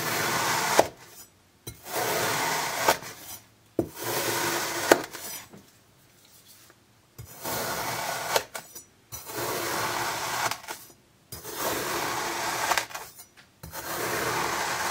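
A thin iridescent metal knife slices diagonal cuts through a solid orange slab of kinetic sand that has already been scored. Each stroke makes a bright, crunchy, scraping cut that lasts about a second, separated by short silent pauses.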